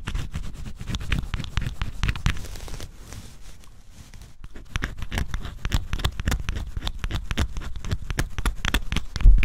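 A small tool scrapes the black scratch-off coating from cardboard jigsaw puzzle pieces, leaving flakes of coating piling up. Quick, dry scratching strokes follow one another with a soft, papery crackle and a dull, low-heavy body. The strokes ease into a quieter stretch in the middle before picking back up, ending on a louder scrape.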